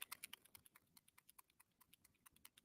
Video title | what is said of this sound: Bird Song 49 and Market NEW COLLECTION & CLASS!!! #SpectrumArtCreations | if you take it and it's a regular alcohol ink you'll shake it and you realize there's nothing there